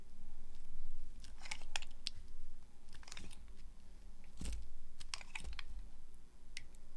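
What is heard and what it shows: A green-handled box cutter blade carves and scrapes strips off a solid, dry bar of soap striped yellow, green and orange, held in the hand. Crisp, dry scraping crackles and sharp clicks come in irregular bursts with bright edges over a steady low hum. Each cut ends quickly with little ring.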